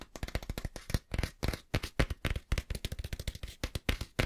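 Fingertips scratch and tap on a small, closed, green cloth-covered hardback book, working over the cover and the page edges. A rapid, irregular run of short, dry taps and brushing scratches follows, each dull, low-weighted thud stopping almost at once. Fine, bright scratchy texture runs over the top.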